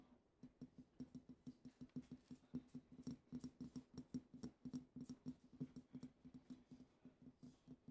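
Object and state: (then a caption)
Glass perfume bottle. Long acrylic nails tap around the neck and shoulders of a small, partly filled, pink-tinted glass perfume bottle with a heart print. About 37 quick, dry taps each carry a short glassy tone near 250 Hz with bright clicks and almost no ring.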